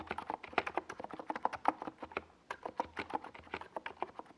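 A compact NiZ Plum Atom 68 mechanical keyboard, with a hollow white plastic case and purple and yellow Domikey Gas Attack SA plastic keycaps, is typed on rapidly with the fingertips of both hands while resting on a desk pad. A fast, uneven run of about thirty crisp, hollow plastic key clacks is heard, each with a mid-pitched knock around 740 Hz and a quick, dry decay.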